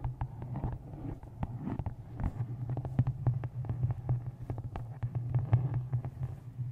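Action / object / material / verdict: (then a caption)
tap / hardcover book tapped with fingernails / cardboard / none. Long green nails and fingertips tap the top edge and cover of a closed, solid, dark hardcover book with a taped photo on the front, resting on top of a microphone. Quick, sharp clicks and soft thuds fall in irregular runs over a steady low hum. The taps ring briefly and stay mostly in the low range.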